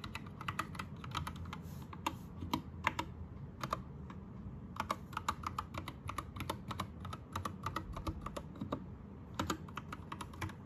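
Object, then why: Mechanical keyboard with plastic keycaps. Fingertips type on an Anne Pro 2 60% mechanical keyboard with plastic keycaps and rainbow backlighting. Crisp, clacky keystrokes tumble out in quick, uneven bursts with short pauses, each a sharp click with a bright top over a low, steady background rumble.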